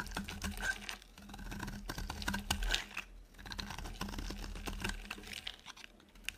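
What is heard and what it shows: A metal blade carves a solid, oval, dry yellow soap bar, shaving off crisp curls. The cutting makes a quick run of dry, crackly scrapes and clicks with bright edges, over a steady low hum.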